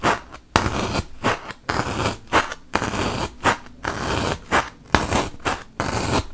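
A wooden toothpick is poked repeatedly into a large, solid white melamine foam magic eraser block. There are 12 dry, scratchy, crunching punctures at an uneven pace, each a short broadband burst that stops abruptly with no ring, separated by brief quiet gaps.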